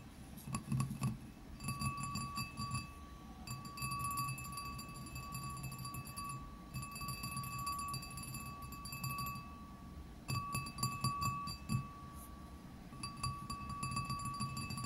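A medium, empty glazed ceramic bowl with a blue rim and a flower pattern, resting on a desk mat, is tapped on its rim and side with fingertips and nails. The taps come in quick, uneven clusters of light clicks, and each run leaves a sustained ringing tone with bright overtones. A low rumble sits underneath throughout.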